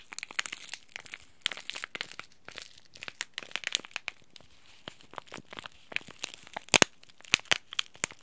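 A small green laminated plastic-foil tea bag packet is bent, crinkled and scratched by fingers and nails. The sound is dense, bright crinkling with sharp crackles and scratchy ticks, louder snaps near the end, and almost no low end.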